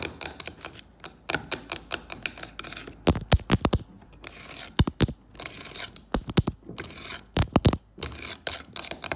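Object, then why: Carved wooden box with brass inlay. Long fake nails tap and scratch across the carved surface of a wooden box lid with a brass elephant inlay. Quick runs of sharp, dry clicks alternate with brief bursts of bright, hissy scratching, and each tap dies away almost instantly.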